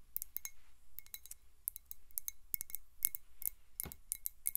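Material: Glass.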